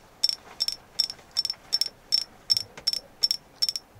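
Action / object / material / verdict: tap / carved agate figure / agate / none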